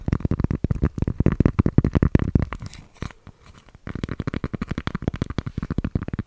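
Fingertips and long painted nails rapidly tap and scratch the surface of a thin, round, solid cork coaster-sized disc held in one hand beside the microphone. The result is a dense run of short, dry, low-heavy taps with scratchy texture that briefly thins to quiet scratching around the middle before the tapping resumes.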